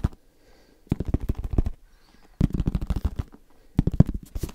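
Fast tapping on a headphone case comes in three rapid bursts of short, dry, low-pitched taps, separated by quiet pauses. Each tap stops almost instantly, with no ringing.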